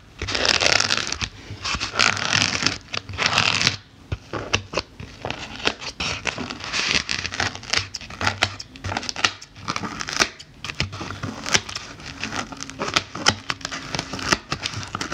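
The tips of metal thread snips poke rapidly across the top of a solid white layered polyethylene foam block with a pumpkin drawing on it, while fingertips with black nails rest on the block. The result is a dense run of quick, dry, crackly scratches and squeaky taps, bright and crisp, with a faint low hum underneath and brief pauses between bursts.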